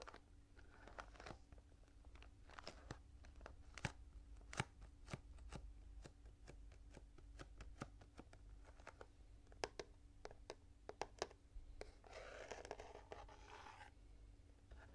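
Fingernails scratch and tap the front face of a small, full, printed cardboard Kinetic Sand box held at an angle. Many quick, dry taps click out over a steady low hum, with softer scratching between them. A longer, brighter scratching burst comes near the end.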